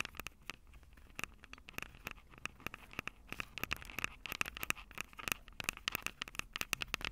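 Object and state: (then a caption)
Metal microphone capsules tapped and scratched. Long purple nails tap and scratch the metal microphone capsules of an upright Tascam DR-05 recorder. The result is a rapid, irregular run of sharp, bright clicks and scratchy patter, with a faint tonal ring around 2.6 kHz and 1.3 kHz. Each hit dies away almost instantly.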